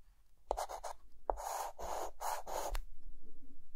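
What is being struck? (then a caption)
Chalk on a slate chalkboard. A short white stick of chalk is drawn across a dark, flat, solid chalkboard, tracing an outline. Two brief taps of the chalk meeting the board are followed by a run of quick, bright, gritty scratching strokes that stop and start, then fade to a faint low rumble at the end.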